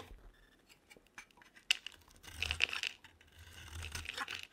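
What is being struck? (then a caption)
Bar of soap scraped with a metal blade. A metal utility knife blade scrapes curls off a solid, hand-sized pink oval bar of soap held in the hand. Quiet, dry, bright scraping and crisp crackling come in short bursts, with sharp ticks that die away almost instantly. The scrapes are loudest between about 1.7 and 2.9 seconds, then a softer, longer scrape follows.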